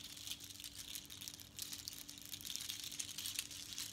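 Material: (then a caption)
Shell. A necklace of long strands of small natural seashells and colored beads is worn and lifted while long nails tap and scratch the shells. The shells rattle and click together in a steady stream of bright, crisp clicks and scratches, with no single hits standing apart.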